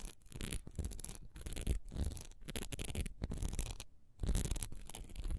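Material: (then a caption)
Wax. Long nails scratch quickly across the bumpy textured side of a solid wax pillar candle held horizontally in the hand. The result is dense, dry scratching in short rough bursts with brief pauses, including a longer pause near the end before the scratching resumes.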